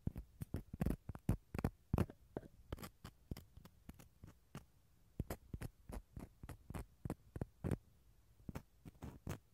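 A wooden toothpick scratches the fibrous interior of a small, empty, hollow half of a dried gourd shell. The sound is a quiet, irregular series of short, dry scratches and clicks. Each has a bright edge and dies away almost instantly over a faint low background.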